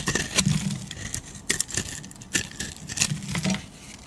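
A solid beige oval soap bar, palm-sized, is shaved with a metal utility blade that lifts thick curls. Quick, crisp scraping strokes give bright, dry clicks and rasps with brief pauses, over a low hum.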